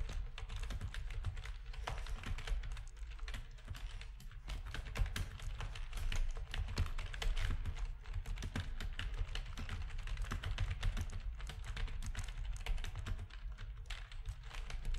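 Fingertips of both hands type rapid key presses on a full-size black plastic backlit RGB gaming keyboard with a hollow housing. A dense, steady stream of short, dry clicks and taps carries a strong low, hollow thump under brief bright clacks that die away almost instantly.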